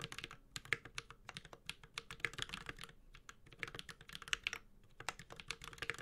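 A Space65 Cybervoyager 65% mechanical keyboard, with a white-gold aluminum case, plastic keycaps, a carbon fiber plate and tactile Holy Panda switches, is typed on steadily with the fingertips of both hands. A quick, uneven stream of short, bright keystroke clacks rises and dips in bursts, each stroke dying almost at once, with only a light low-end thud beneath the sharp, high clatter.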